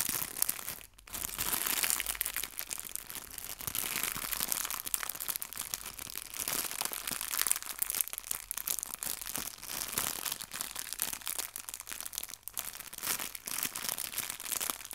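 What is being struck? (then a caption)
Small clear plastic bag holding fabric leaves. A small clear plastic bag holding fabric artificial leaves is pressed and crinkled with fingertips and nails. The result is a continuous, dense crackle of bright, sharp plastic crinkling, with only a brief pause near the start.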